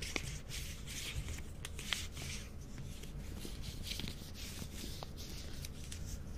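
A small Reptar chocolate bar in a colorful plastic wrapper is handled as fingers and nails pull at the wrapper's end as if tearing it open. Steady crinkling and rustling of the plastic are heard over a low background, broken by sharp clicks and snaps from the nails.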